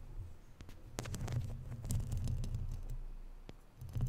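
Long natural nails scratch and tap the sides of a round, hollow, woven metal mesh microphone grille. The result is a dense, uneven stream of low, thumping rumble broken by sharp, bright clicks and scrapes. The sound swells in the middle, fades, then rises again at the end.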